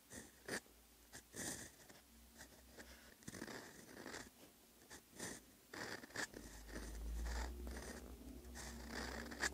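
A steel fountain pen nib scratches across a flat, solid lined notebook page while handwriting Korean characters. The result is quiet, irregular bursts of dry, bright scratching strokes with short pauses between them, over a faint low hum.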